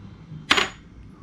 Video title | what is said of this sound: How to setup GoPro for Vlogging in Telugu -- Unboxing ??? -- My complete vlogging setup | ఒకసారి ఫాల్ చేసినప్పుడు మెటల్ అయితే సౌండ్ వస్తుంది